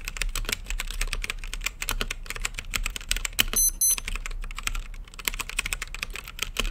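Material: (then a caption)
Plastic. Fingertips type rapidly on a mechanical keyboard with plastic keycaps and a clear acrylic lit case, producing a dense stream of sharp, bright clicks and clacks over a steady low hum. A brief high-pitched electronic tone sounds midway through the typing.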